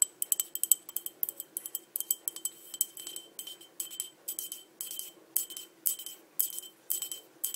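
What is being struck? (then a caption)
Small glass cup tapped with fingernails. Long dark nails tap quickly on the rim and body of a small, empty green crackle glass cup that is held and tilted. The result is a quiet, rapid run of crisp, bright clinks with a faint high ring, each dying away almost at once, with no low end.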